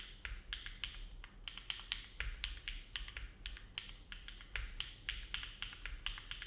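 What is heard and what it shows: A compact Neo70 mechanical keyboard with an aluminum plate, foam dampening and dark GMK plastic keycaps rests on a desk mat while fingertips of both hands type on it continuously. A steady stream of short, bright clicks and taps is heard, each dying away almost instantly over a faint low hum.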